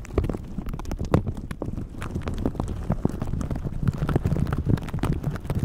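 Red silicone glove bristles scratch and rub the film of a plastic shower cap stretched over a microphone. The result is a dense, muffled run of rustling scrapes and soft thumps, heavy in low rumble with little brightness, its level swelling and dipping throughout.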